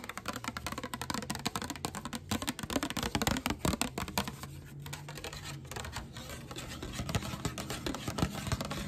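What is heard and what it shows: A flat, hand-sized, solid pink glittery plate, likely glass, is tapped and scratched on its top and underside with long black nails. Rapid, dry clicking taps blend with rough scratching across the surface in a dense, steady patter, with quick taps that stop almost instantly.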